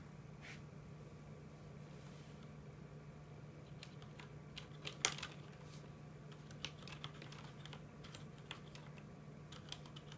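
A full-size mechanical keyboard with plastic keycaps sits on a desk while both hands type slowly, tapping the keys with the fingertips. Sparse, bright, short clicks stand out over a steady low hum, with one louder key strike near the middle.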